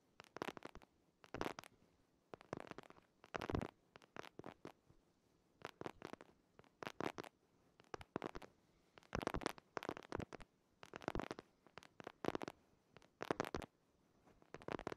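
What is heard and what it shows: Fingernails scratch and tap the cover of a purple hardcover paper planner held behind a microphone. The result is quiet bursts of dry scratching and short, crisp taps that come in clusters, separated by brief pauses.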